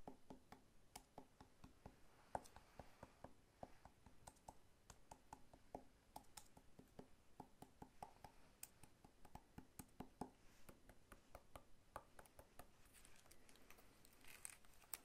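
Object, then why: Whole pineapple rind. Fingertips tap rapidly on the scaly rind of a whole, solid pineapple held sideways in the other hand. The result is a quiet, steady stream of short, dry clicks with a dull low body and no ring. Some brighter, crisper scratchy ticks come in toward the end.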